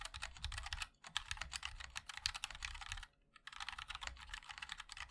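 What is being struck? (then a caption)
Mechanical keyboard with metal case and plastic keycaps. Both hands' fingertips type continuously on a MOD-L 60% mechanical keyboard with linear switches, a black aluminium case and white and black ABS keycaps. Quick, bright, clacky taps come in rapid runs with a light low thock beneath, broken by a brief lull near the one-second mark and a short pause just after three seconds before the typing resumes.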